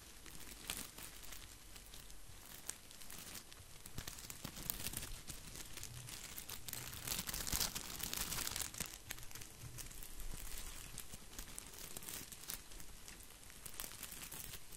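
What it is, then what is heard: Artificial plastic boxwood ball. Fingertips and palms scratch and rub a head-sized artificial plastic boxwood ball, a hollow decorative topiary frame covered in many small green plastic leaves. A steady, dense crinkling and crackling rustle with a bright edge and a soft low rumble continues throughout, growing slightly louder in the middle before settling back.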